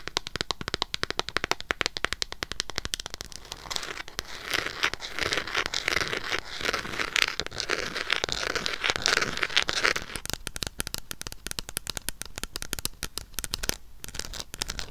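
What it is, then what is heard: Small hardcover book. Long acrylic nails tap and scratch a small red hardcover notebook or book with an embossed, solid, closed cover. Rapid, crisp clicks give way to a denser, bright scratching texture in the middle stretch, then return to sharper, quicker taps near the end.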